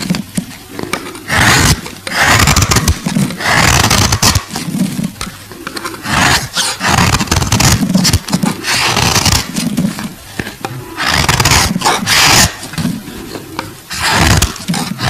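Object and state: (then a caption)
Glycerin soap bar scraped with a blade. A solid, translucent purple glycerin soap bar held in the hand is scraped with a metal blade. Repeated rough, rasping strokes come in loud bursts, each with a bright hiss over a low, grinding rumble. Short quieter pauses separate the strokes.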